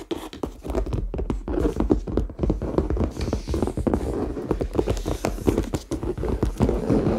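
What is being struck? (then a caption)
Faux leather handbag. A medium, hollow red faux leather handbag is held in both hands and tapped and scratched with fingertips and nails on its side and top. The result is a quick, steady stream of soft, dull taps mixed with dry scratching, heavy in the lows with little brightness. Each tap dies away almost at once.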